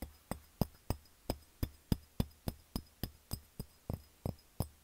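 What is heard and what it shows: A medium-size, clear ribbed glass candy jar with a glass lid, appearing empty, is held on its side and tapped with the fingertips. It gives a quick series of about nineteen short, dull, low-pitched thuds, roughly three to four per second, each with a faint bright click on top. Each tap dies away almost at once, with hardly any ring.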